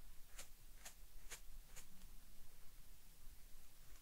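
A small soft-bristled brush held in the fingers is brushed and traced over the weave of a large, flat woven wool tapestry, a dark blue floral reproduction of the Unicorn tapestry lying on a table. Four short, bright, airy brush strokes sound in the first two seconds over a quiet low hum, and the rest stays near silent.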